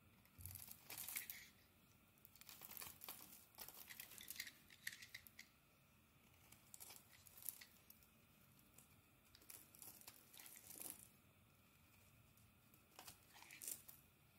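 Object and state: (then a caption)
Bar of soap being carved. A pink oval bar of LUX soap held in the hand is scraped and carved with a blade, sending pink flakes falling. Bursts of bright, dry scraping and crinkly flaking sounds come in uneven clusters with quiet pauses between them.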